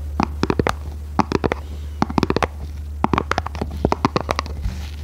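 Long red nails tap and scratch a small, hollow, red printed cardboard box held in both hands. The taps come in quick bursts of short, dry clicks with a hollow papery body, over a steady low hum.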